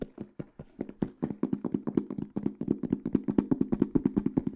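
Fingertips and nails tap quickly across the flat black textured panel of a small, hollow hard case with a silver aluminum frame, held beside the mic. About thirty-three short, dry taps come in an uneven, fast run, each giving a hollow low-mid knock around 260 Hz that stops almost at once.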